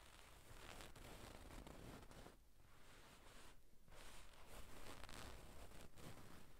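Long pink nails scratch and rub the surface of a soft, stuffed gold-brown satin damask cushion with tassels, using both hands. A continuous quiet, fabric-textured scratching and rustling rises and falls, with brief lulls near 2.5 and 3.7 seconds.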